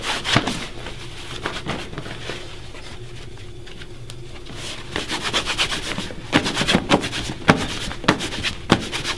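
Hands rub and buff the toe of a polished black leather dress shoe, worn on a foot resting on a wooden stand, with a bunched white cloth. Soft, bright cloth swishes come in an uneven rhythm, fade to a quiet stretch, then return as brisker strokes. The clip ends with a run of sharper snapping buffs.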